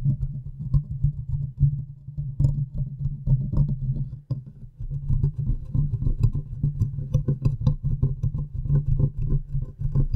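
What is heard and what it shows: Long nails tap and scratch the hollow metal mesh grille and metal body of a large condenser microphone. A dense run of close, muffled taps and rough scratches sounds heavy and boomy, with faint bright ticks over the top. The activity briefly drops off near the middle, then resumes just as busy.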